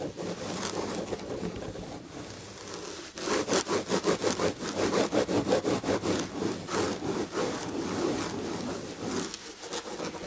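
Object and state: Scratched fabric-upholstered chair back.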